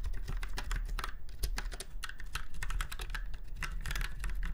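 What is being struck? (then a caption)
Mechanical keyboard. Fingertips of both hands type on a typewriter-style retro mechanical keyboard with round white keycaps set in chrome-look rings on a silver frame. A steady, rapid stream of short, bright clicking keystrokes plays over a constant low hum.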